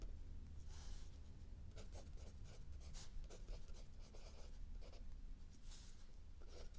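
A mechanical pencil writes and scratches across a lined paper sheet of a spiral notebook while the hand holding the book stays still. Soft, dry scratching strokes come in short bursts over a steady low rumble.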